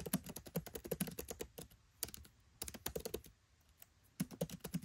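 Fingertips type rapid key taps on a MacBook Pro 13 keyboard with black plastic keycaps set in an aluminium body. Quick, dry clicks with a soft low thud and bright tick come in fast bursts separated by brief pauses.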